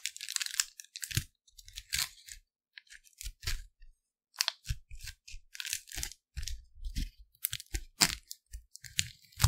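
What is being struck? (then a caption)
Thin plastic candy wrapper. A thin, flexible, printed clear plastic wrapper from a Lindor chocolate, empty and flattened, is held in both hands by the fingertips in front of the microphone and stretched, rubbed and crinkled. The result is a run of short, bright, crackling crinkle bursts with quick decays and soft low thumps underneath, separated by brief pauses.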